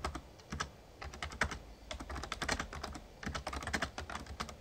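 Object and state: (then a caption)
Plastic membrane keyboard being typed on. Fingertips of both hands type rapidly on an RGB-backlit plastic Razer Ornata Chroma membrane gaming keyboard with a hollow casing. Quick, short key taps, about 30 of them, come in uneven bursts. Each has a bright click over a low, hollow thud and dies away almost at once.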